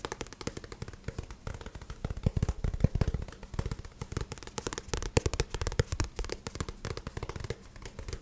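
Fingertips tap rapidly and continuously on the glossy card back cover of a paperback book held up in the air. The taps are short, dry and dull with a soft low thump, sometimes landing as quick flurries and a few louder knocks.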